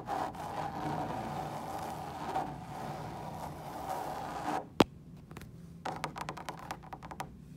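Long pointed nails scratch steadily across the woven fabric surface of a large, hollow lampshade lit from behind in a hotel room, making a dry, raspy midrange hiss. The scratching stops with one sharp tap, followed by a quiet pause and then a scatter of light, clicky scratches and taps.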